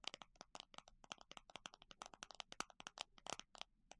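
Fingers tap quickly on a plastic container holding small circular plastic clasps. About thirty sharp, dry clicks come in a rapid, uneven run, each bright and cut off almost at once with almost no low end.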